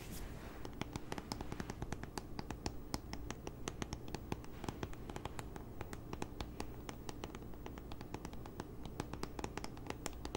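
A tablet in a grey synthetic keyboard folio case, held upright, is tapped and scratched along its edge and the case exterior with long nails. A steady run of crisp, dry clicks and short scratches sits over a low, muffled rumble, with no ring after each tap.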